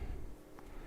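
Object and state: Nothing is struck.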